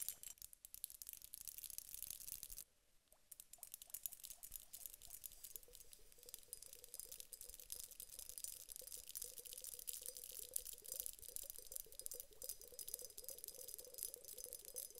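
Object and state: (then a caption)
Glass hourglass filled with water beads. A large clear glass hourglass filled with gel water beads is tapped with long acrylic nails on both bulbs. Quick, bright clicking taps run almost constantly, with the beads rattling and pattering inside. The sound drops out briefly near the third second, then the tapping picks back up.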